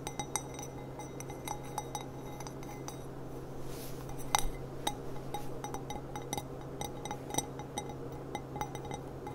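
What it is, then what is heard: Glass goblet. Long black-painted nails on both hands tap the bowl of an empty, clear glass stemmed goblet with a gold rim and a small price sticker, resting upside down on a table. Short, bright clinks with a pitch near 830 Hz sound in quick, irregular bursts and fade almost at once. A steady low hum runs underneath throughout.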